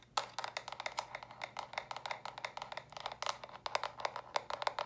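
Long nails tap and scratch rapidly across the studded top and sides of small, hollow, stacked plastic brick storage boxes. About thirty quick, dry, hollow clicks ring out near 965 Hz with bright edges, each dying away almost instantly, mixed with light scratching between the taps.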